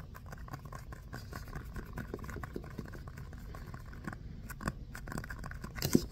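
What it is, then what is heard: Foam stress ball scratched and tapped. Fingernails scratch and tap a small orange textured foam stress ball shaped like a basketball, held close. A quiet, steady patter of soft, dull scratching and tapping stays mostly low in tone, with a few sharper taps near the middle and a louder tap at the very end.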